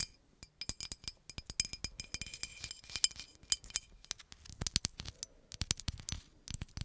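Long acrylic nails tap rapidly and irregularly on a hollow green glass bottle with a paper label. Each tap gives a sharp, bright clink, and some leave a faint high ring. The taps come in quick clusters with brief pauses and a slight scraping texture between them.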